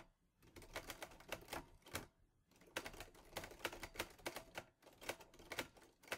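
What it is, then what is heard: Metal portable typewriter being typed on. Fingertips type on the keys of a teal metal Olivetti Lettera 22 portable typewriter. Sharp, bright clacks come in three quick bursts separated by short pauses. Each strike is crisp, with a metallic snap that dies almost instantly.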